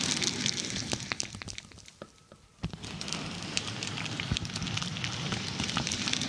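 Long nails scratch and tap across the surface of a dark, glossy plastic padded bubble mailer held over the microphone. The result is a dense, bright crinkling crackle with sharp clicks. It drops briefly to a quiet lull around the two-second mark before the scratching picks back up.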